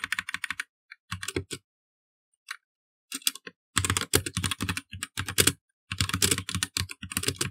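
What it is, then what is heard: Plastic mechanical computer keyboard. A full-size black mechanical computer keyboard with plastic keycaps is typed on continuously with the fingertips of both hands. Bursts of quick, sharp keystrokes with a low thud under bright plastic clatter are separated by brief pauses, each press stopping almost instantly.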